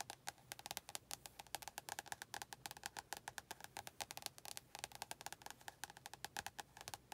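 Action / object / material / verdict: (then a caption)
tap / paperback book with a glossy card cover / card / none. Long nails tap quickly on the glossy card front cover of an orange and yellow paperback book held upright. The result is a rapid run of quiet, dry, clicky taps with a woody tone around 800 Hz and bright upper edges, each dying away almost instantly.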